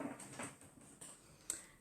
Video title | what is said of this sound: Infill/rebalance | if you can hear the tapping sound it means it's cured